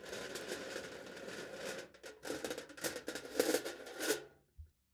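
A kitchen knife tip scratches and presses lines into thin aluminium foil stretched tightly over the top of a hollow clear plastic cup held in one hand. A steady crinkly scraping runs for about two seconds, then breaks into a series of sharper, bright scratches and pressing strokes that stop with a soft final tap.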